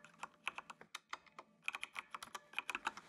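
Fingertips of both hands type on a full-size black plastic mechanical computer keyboard with RGB backlight resting on a desk. About nineteen short, bright plastic clicks come in an uneven stream, each dying away almost instantly with no ring, and there is a brief pause in the middle before the typing picks up faster.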